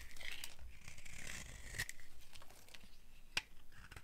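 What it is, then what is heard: Dry soap bar being shaved. A solid, dry orange oval soap bar held in the hand is shaved by a metal blade into thin curls. Dry, papery scraping and crinkling runs continuously with a faint tone near 2.4 kHz, broken by brief bright clicks and one sharp tick near the end.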